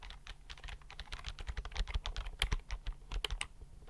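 Fingertips type rapidly on a slim white plastic computer keyboard held tilted near the microphone. A fast, uneven stream of short, dry clicks with bright key tops rises over a soft low thud from each press, with no ring after the keys.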